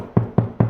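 Three taps on an interior wall at a spot between the studs, each giving a low, boomy thud around 117 Hz that fades within a fraction of a second. The wall sounds hollow there over the cavity, unlike the solid spot over a stud.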